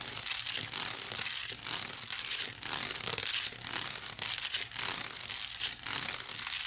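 Long acrylic nails scratch along the woven strands of a small, hollow white wicker basket held up close. The result is a steady, dense, bright crackling and rasping that swells and dips, with almost no low end.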